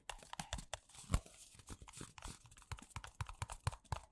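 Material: Paper.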